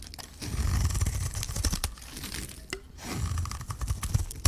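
A hand-sized, solid green bar of dry soap with a gold coating is held in one hand while a metal blade scrapes and shaves curls off its surface. Two long, rough scraping passes are heard, each a dense low rasp, with brief crackling, bright ticks in between and at the end.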